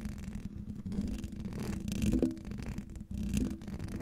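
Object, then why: Metal mesh microphone grille. Fingernails of both hands scratch rapidly over the hollow metal mesh grille of a silver condenser microphone. The result is a dense, continuous, low, rumbling scratch with a faint whirring texture, peaking near the middle and dipping briefly just after three seconds before resuming.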